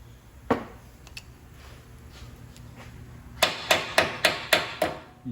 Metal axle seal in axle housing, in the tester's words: i'm tapping on the outside of it so i know it's in there flush now